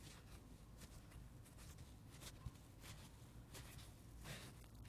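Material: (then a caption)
Foam. Fingertips and nails scratch and rub the red face and green rind edge of a dry, watermelon-shaped foam sponge held in the hands. The result is quiet, airy scratching bursts over a steady low hum, with one brief sharper tap midway.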